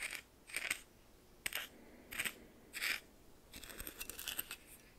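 A red plastic spoon stirs coarse white salt in a small clear bowl with a metallic rim, held by hand. Short, bright, gritty bursts of crunching and scraping come in quick strokes with sharp little ticks and quiet gaps between them. A denser run of crackling follows near the end.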